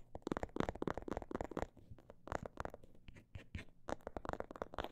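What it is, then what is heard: Faux leather cosmetic bag, tapped and scratched. Long black nails tap and scratch the surface of a small, filled-looking faux-leather cosmetic bag with a snakeskin print. Quick, soft, dull taps come in dense bursts with brief quieter pauses, mixed with faint scratching. The sound is muted and low-to-mid toned, with almost no high-frequency crispness.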